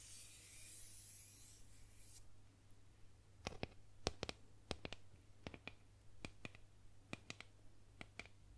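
Fingertips and nails rub and trace along the surface of a solid painted wooden boomerang held upright. A bright, hissy scraping fills the first two seconds, then gives way to a scattered series of sharp, dry clicks and taps. A steady low hum sits underneath throughout.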